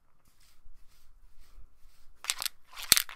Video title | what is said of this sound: You Voted!!! Living Proof Perfect Hair Day VS. No Nothing Very Sensitive Dry Shampoo | shake it until you hear a little ball inside the can